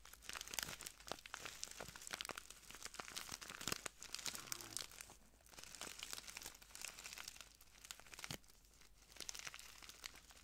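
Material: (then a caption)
Plastic. A small clear plastic bag full of translucent granules is crinkled and squeezed by the fingertips of both hands. It makes a quiet, continuous stream of bright, crisp crackles and rustles, with occasional sharper snaps and very little low end.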